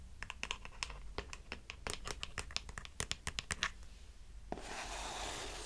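Long manicured nails tap and scratch a hollow, medium grey plastic cosmetic bottle with a white cap. A run of quick, bright, clicky taps gives way to a steady, hissing scratch across its surface.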